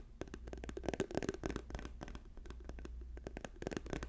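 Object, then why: Soft plastic lotion tube. Fingertips and nails tap quickly on a hand-sized, apparently filled orange and white soft plastic lotion tube held in the hands. The result is a rapid, uneven stream of short dull taps mixed with brighter crisp clicks, over a steady low hum.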